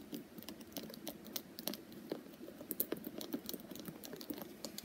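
Long purple nails rapidly tap and scratch the smooth, solid wooden back of a wooden paddle hairbrush with wooden pins. The result is a quiet, quick patter of dry, clicky taps with bright, crisp edges and soft scratching between them, each tap dying away almost instantly.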